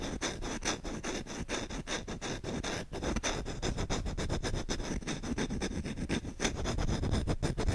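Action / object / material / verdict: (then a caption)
scrape / wooden spoon / wood / none. Short fingertips scratch fast across the bowl of a solid wooden spoon. The result is a dense, rapid run of dry, scraping strokes with a low, rumbling body and faint bright edges, going on without pause for the whole clip.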